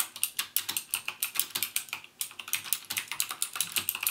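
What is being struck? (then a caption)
Mechanical keyboard with plastic keycaps. Fingertips type on a backlit plastic mechanical keyboard with plastic keycaps and Cherry MX Blue switches, pressing keys half-way and then fully. About two dozen sharp, bright clicks come in quick succession, with a short gap near the middle. Each click dies away almost instantly.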